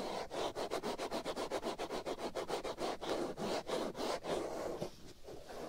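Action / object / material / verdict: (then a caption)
scrape / foam microphone windscreen / foam / none. Fingers rub and scratch a black foam windscreen covering the right ear of a binaural microphone. About 17 quick, rhythmic scratching strokes, each a dry, breathy rasp centered in the low mids with bright hiss on top. The strokes blur into a softer, uneven rustle near the end.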